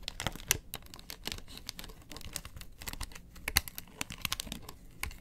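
Long nails scratch and rub the ridged face of a round, hollow yellow plastic box lid held in the hand. The result is a dense run of crisp, crackly scratches and sharp clicks, bright and dry, with a few louder snaps standing out.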